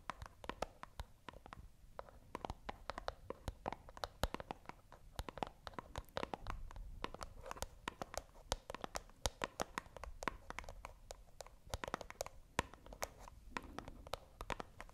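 A small, hollow white cardboard box is held in both hands close to the microphone while long nails scratch and tap rapidly across it. Dozens of quick, dry, bright clicks with almost no ring snap over a soft, continuous scratching rustle and a faint low rumble. The taps come in fast, uneven bursts throughout, with no other sounds.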